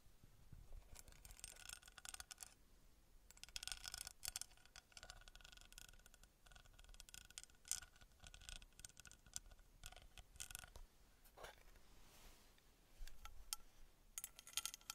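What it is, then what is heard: Small metal pyramid scratched and tapped with fingernails. Long red nails scratch and tap along a small, palm-sized engraved copper-colored metal pyramid. The result is bursts of bright, dry scraping and crisp clicking, with short quiet gaps between the passes.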